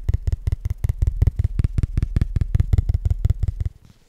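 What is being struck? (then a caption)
Thin cardstock trading card. A small, flat Pokémon trading card made of thin cardstock is held in both hands and tapped rapidly with the fingertips. About 20 quick, dull, low taps follow one another at an uneven pace, each dying away almost instantly, before the tapping stops and a faint quiet tail remains.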